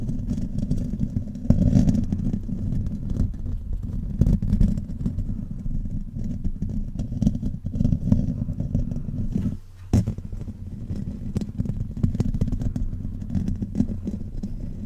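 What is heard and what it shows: Fingertips and nails of both hands rapidly scratch and rub the hollow metal mesh grille of a silver condenser microphone. A dense, continuous low rumbling scratch with rapid clatter and a brief drop in level near the ten-second mark.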